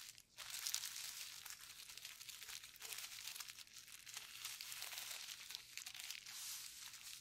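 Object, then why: Plastic bubble wrap sheet. Gloved fingertips press and scratch across a painted sheet of clear plastic bubble wrap with hollow air bubbles. The result is a quiet, continuous, bright crinkling and scratching rustle, dotted with small crisp ticks, almost entirely in the high range with no low end.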